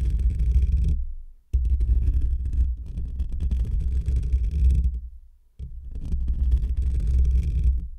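Short fingernails and fingertips scratch across a hollow metal wire-mesh microphone grille. This makes a deep, boomy, rumbling scrape with a faint bright hiss on top. The scratching comes in three sustained stretches, separated by two brief near-silent pauses.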